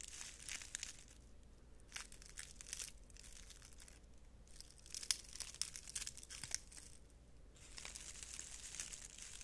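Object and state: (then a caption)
Dried flower bundle. A bundle of dried purple flowers on pale, brittle stems is held upside down near the microphone while fingertips rub and pick along the stems. The result is a steady, bright crinkling with light tearing, coming in bursts with short quiet gaps over a faint low hum.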